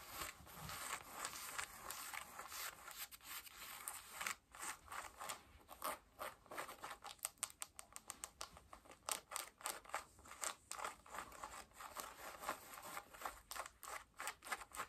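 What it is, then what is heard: Denim jeans scratched with nails. Long nails scratch worn blue cotton denim jeans on the back pocket, waistband and side. It makes a steady rustle of rapid, bright, dry scraping strokes that come in quick bursts and grow sharper and more separated in the second half. A faint, high, steady tone sits underneath.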